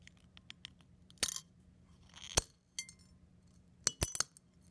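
A fingertip presses a brown eggshell half and its fragments on a ceramic plate, crushing the shell into flakes. Sharp, bright crackles and snaps come in short bursts separated by quiet gaps, with a brief gritty crunch in the middle and a quick cluster of cracks near the end. A faint low hum sits underneath throughout.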